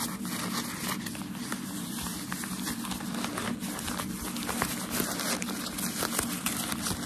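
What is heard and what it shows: Thin, light white tissue paper from a shoe box is held in both hands and crumpled, with fingertips and medium nails crinkling and scratching it. The result is a steady, dense crackle of bright paper rustle with small sharp ticks throughout.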